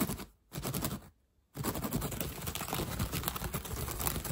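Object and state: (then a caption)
Woven straw hat, tapped and scratched. Fingertips and nails rapidly tap and scratch the woven straw brim of a hat held close to the camera, making dry, crackly ticking and rustling. The sound comes in two short bursts separated by near-silent gaps, then runs as a dense, continuous scratching.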